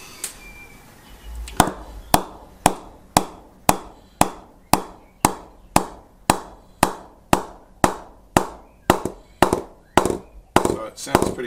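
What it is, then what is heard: Willow cricket bat with a good ping. A willow B3 Custom Shape 23 cricket bat, prepared with shoe goo and extra polishing, is tapped repeatedly up along the blade, including the driving area, in a steady rhythm. Each tap gives a sharp, short, woody knock with a ping around 750 Hz. The bat sounds good, with a lively ping.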